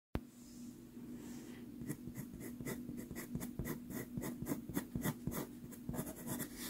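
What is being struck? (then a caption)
Pastel pencil on pastel card. A white pastel pencil held in the fingertips strokes and scratches a small 4.5 inch sienna Pastelmat pastel card taped to a board. Soft, dry, gritty rubbing opens the clip, then gives way after about two seconds to quick, uneven scratchy strokes with bright edges. A steady low hum sits underneath.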